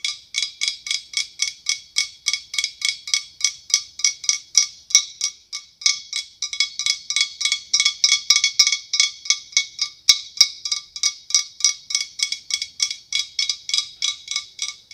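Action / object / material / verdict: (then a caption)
tap / blown glass decorative pumpkin / glass / none. Long acrylic nails tap rapidly on the ribbed sides of a large, hollow decorative pumpkin made of opaque white blown glass with a clear glass stem. About sixty quick, bright, glassy clicks come at a loosely steady pace, each carrying a faint ringing tone near 1.2 kHz and 2.3 kHz that dies away almost at once.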